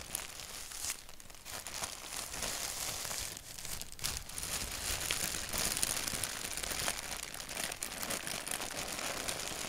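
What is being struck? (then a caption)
Thin paper sheet. A thin white paper sheet with a black doodle print is scratched by fingertips and then crumpled in the hands. It gives a dense, bright, irregular crackling and crinkling that runs continuously, growing slightly louder in the second half.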